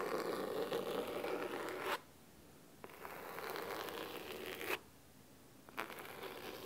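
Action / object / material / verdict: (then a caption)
scrape / cloth-covered hardcover book / cloth / none. Fingernails scratch the fabric cover of a thick navy cloth hardcover book resting on a wooden table. Three bursts of dry, crisp, broadband scraping are separated by brief quiet pauses, each ending abruptly.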